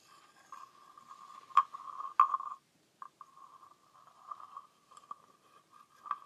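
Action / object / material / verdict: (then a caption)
scrape / wooden frog guiro scraped with a stick / wood / none. A small hollow green wooden frog guiro is scraped along its ridged back with a wooden stick by a hand with long nails. It gives dry, ratchety rasps with a steady mid-pitched tone and brief sharp accents. The rasps stop for a short pause midway, then resume in quieter, uneven strokes.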